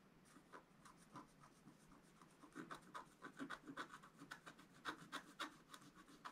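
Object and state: Scratch-art card being scratched.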